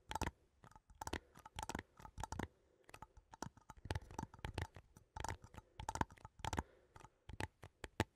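A small cylindrical metal coffee tin, held sideways in both hands, is tapped and scratched along its side with fingertips and nails. Quick, dry clicks and scrapes come in bursts with short pauses between them. Each hit carries a faint hollow metallic tone near 900 Hz and a soft low thump, dying away almost at once.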